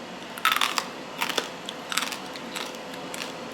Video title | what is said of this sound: What I Eat in a Day 🍴 - Nutrition Coach Eating for My Blood Type + Hormone Balance | I want y'all to hear how crispy this rice is